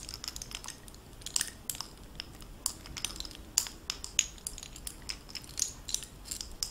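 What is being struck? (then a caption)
Metal bib necklace with faceted stones. A gold-tone metal costume bib necklace with oval faceted blue stones in gold-tone metal bezels is held in both hands while fingertips and long nails move it. The links and stones clink together in quick, bright, tinkly clicks that die away almost instantly, over a quiet background.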